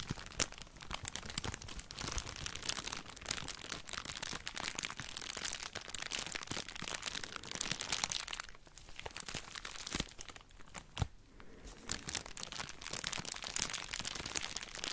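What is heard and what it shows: An empty, thin clear plastic bag, crumpled and held in both hands, is squeezed and crinkled with the fingers. It produces a steady run of bright, crackly crinkles with sharp snaps throughout, briefly thinning out around the middle before picking back up.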